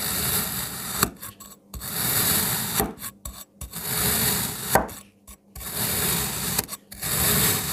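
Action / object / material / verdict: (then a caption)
scrape / molded kinetic sand block cut with a knife / kinetic sand / none. A palm-sized, solid molded block of red and green kinetic sand is cut into slices with a black kitchen knife that is pressed and drawn through it. Each slice gives a steady, crunchy, gritty scraping with bright hiss and a sharp snap as the blade finishes, separated by brief near-silent pauses.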